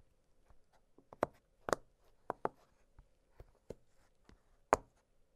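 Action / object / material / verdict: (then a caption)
tap / silicone pop-it fidget toy / silicone / none. Fingertips press and pop the hollow bubbles of an octagonal blue silicone pop-it fidget toy lying flat on a glittery surface. The result is an uneven series of short, dry, soft pops, some louder and sharper than others, each dying away almost instantly, with a faint steady midrange tone underneath in the quiet gaps.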